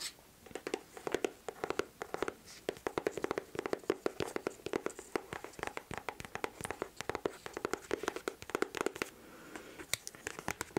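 Long nails tap and scratch the smooth upper of a white leather Dr. Martens boot held close to the microphone, with a hollow ring. Rapid, dry, clicky taps come in quick uneven bursts over a soft scratching texture, with a hollow tone near 390 Hz and no lingering ring.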